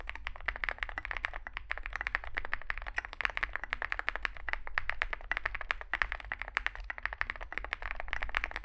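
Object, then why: Mechanical keyboard with metal case and plastic keycaps. Two hands type rapidly with their fingertips on a Zoom65 65% mechanical keyboard with a dark metal case, white and grey SA-profile plastic keycaps and lubed switches, resting on a desk mat. A dense stream of short, crisp clacks with a bright, hollow tone, each stopping almost instantly, runs steadily over a low background hum.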